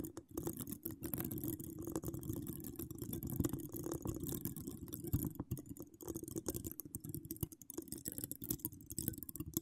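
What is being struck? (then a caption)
Steel mesh microphone grille. Long acrylic nails with charms scratch across the hollow domed steel mesh head of an uncovered microphone. The result is a dense, continuous stream of quick, short scratches and clicks that sound heavy and muffled. They rustle in a low, boomy range, with faint bright ticks above.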